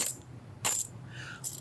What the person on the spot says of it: they have a certain unique, a kind of tinny sound when you hear them falling on each other